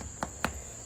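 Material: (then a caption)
Bread. Damper bread, just taken out of the fire, is tapped twice, giving two short hollow knocks over a steady high-pitched background hum. It sounds hollow, but the bread is judged not quite baked, though close.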